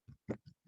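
A paperback book reinforced with a hard cover board attached with flexible adhesive is tapped four times, giving short, dull, low knocks with no ring. The cover now sounds hard like a hardcover and does not fold easily.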